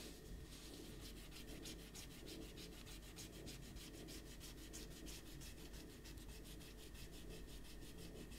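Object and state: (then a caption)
Paper sheets being erased. A handheld rubber eraser is rubbed vigorously back and forth over a pencil drawing on a stack of white printer paper lying on a table, while the other hand holds the sheets flat. Quick, even scrubbing strokes give a bright, papery rasp that pulses steadily for the whole clip over a constant low hum.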